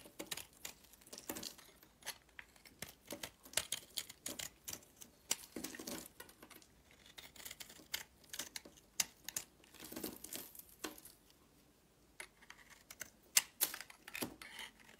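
A solid rectangular purple soap bar held in the palm is scraped and carved with a box-cutter blade, and flakes fall off. Quiet, bright, dry scraping and crackling strokes come in irregular bursts with no ring after each cut, with a short lull near the twelve-second mark.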